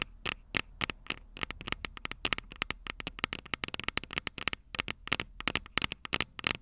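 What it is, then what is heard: Metal microphone capsules tapped and scratched with fingernails. Long purple nails scratch and scrape the small, hollow, silver metal microphone capsules of a Tascam DR-05 recorder. The result is a rapid, uneven string of sharp, dry clicks and scrapes that are bright and thin, centered around 2 kHz with little low end. Each sound cuts off almost instantly over a faint, steady background hiss.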